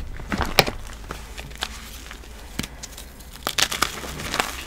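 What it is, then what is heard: Dried cornstarch paste block crumbling. Bare fingers with painted nails squeeze a small white solid block of dried cornstarch paste, a chalk-like reform, held over a tub of powder, crumbling it into powdery, crunchy pieces. A series of short, sharp, bright crunches and crackles rises over a soft, steady background hiss, with the loudest snaps near the start and a quick cluster toward the end.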